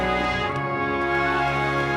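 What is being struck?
Nothing is struck.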